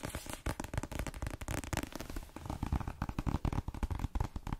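A cream paperback book marked "M", a solid block of paper, is held in one hand and tapped quickly with the fingernails of the other hand on its cover and edges. The result is a fast, dense run of dull, low, crackly clicks that stop dead with no ring.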